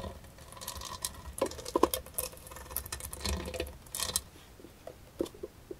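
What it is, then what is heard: Brass metal jewelry box. Long nails tap and scratch the flat lid and embossed sides of a closed, hollow, rectangular brass-colored metal jewelry box with a Greek key border and a front clasp. Quick, light metallic ticks and clicks patter over a soft scratching hiss, with brief bright rings that die away almost instantly.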